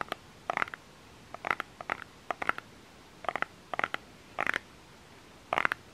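Fingernails scratch and tap close-up on the labeled body of a small plastic lotion bottle. Quick clusters of dry, crisp clicks centered in the midrange come in short bursts, separated by near-silent pauses. Each tap dies away almost instantly.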